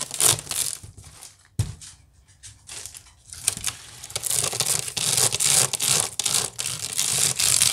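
Long pink-painted nails scratch fast across the weave of a large, hollow, round woven wicker basket with both hands. The result is a dense, bright, crackling rasp that dips quieter for a couple of seconds near the start, then returns louder and more continuous to the end.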